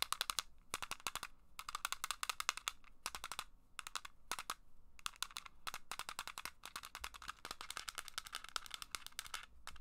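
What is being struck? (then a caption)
Small plastic game case. Long black acrylic nails tap and scratch a small, hollow, translucent red plastic game case held close to the camera. Rapid bursts of sharp, bright clicks fire in quick clusters separated by brief pauses. Each tap dies away almost instantly, leaving a crisp, dry rattle over a faint scratching hiss.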